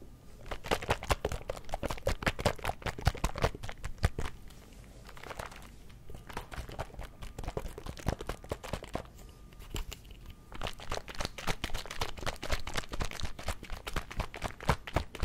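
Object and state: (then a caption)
Small plastic drink bottle with liquid. A small plastic Mio drink bottle with liquid is held in one hand, turned and shaken beside the mic. It makes a dense run of sharp, crinkly clicks and taps with a low thud underneath. There are two brief quieter lulls before the rattling picks up again.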